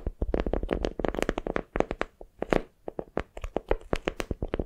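A patterned beeswax-coated cotton wrap, folded around a small soft squishy block into a palm-sized bundle, is squeezed and gripped with long nails and fingertips. It gives a fast, uneven run of soft, tacky crinkles and muffled crackles, with short pauses between bursts. The sound is close and dull, weighted toward the low and middle range, with faint bright edges on the sharper nail clicks.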